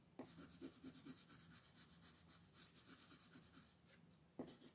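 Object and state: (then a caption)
Colored pencil scratching on a paper page. A purple colored pencil, held in a hand with long painted nails, rubs and scratches across a flat printed paper coloring page with a peacock design lying on a wooden table, while the other hand holds the page still. The coloring is continuous: quiet, rapid, uneven back-and-forth strokes make a dry, bright scratchy hiss over a soft low rasp. A sharper stroke sounds near the start and again near the end.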